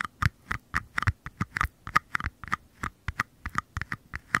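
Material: Paper.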